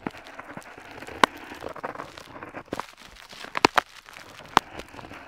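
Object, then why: Paper sheet with metal dip pen nib. A metal dip pen nib scratches across a flat paper map sheet while tracing a coastline, making a soft, continuous dry scratching and crackling. A few sharp, bright ticks stand out where the nib catches the paper, centered around 1 kHz.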